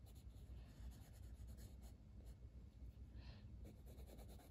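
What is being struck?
Wooden colored pencil on a paper page.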